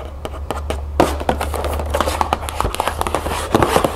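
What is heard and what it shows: Long nails scratch and tap across the back panel of an upright cardboard cereal box, making a rapid run of short, dry taps mixed with scratchy rustling. A steady low hum sits underneath throughout.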